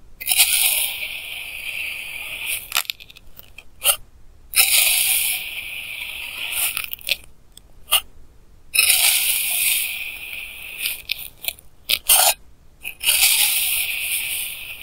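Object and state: Kinetic sand being cut.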